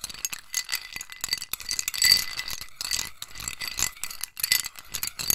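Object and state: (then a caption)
Ice cubes stirred in a ceramic bowl. A metal spoon stirs ice cubes in a small white scalloped ceramic bowl held in the hand, rattling and clinking the ice against the bowl. The sound is a dense, continuous stream of bright, short clinks with quick decays, busiest around the middle of the clip.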